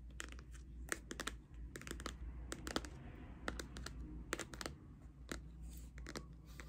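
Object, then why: Cardboard eyeshadow palette. A pink Too Faced cardboard eyeshadow palette is held up close and tapped and scratched with long red nails. It gives a quick, irregular series of sharp, dry clicks with soft scratching between them, over a steady low hum.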